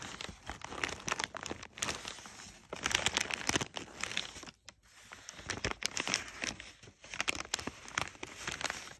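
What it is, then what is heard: Crumpled kraft packing paper. Fingers and a thumb rub and press thin, crumpled brown kraft packing paper, producing dense, bright crinkling and crackling. The sound comes in uneven bursts, with brief quiet gaps near the middle before the rustling picks up again.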